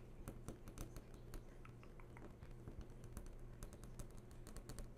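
Long nails tap rapidly on the glossy glass surface of a large flat-screen TV that is switched on. The result is a quick, uneven stream of sharp, dry clicks with bright tops, heard quietly over a steady low hum.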